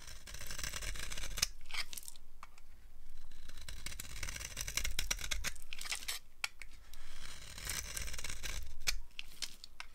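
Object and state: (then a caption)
Dry soap bar being carved. A blade scrapes crunchy curls off a solid, dry green soap bar held in the palm. Repeated dry, crackling scrapes come in bursts with brief pauses, bright and gritty over a steady low rumble.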